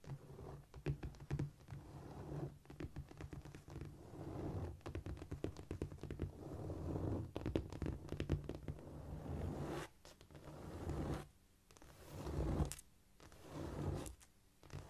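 Long painted fingernails of both hands scratch across a flat, solid cork floor. Dense, irregular scratching and scraping comes with soft low thumps, with short quieter gaps near the end.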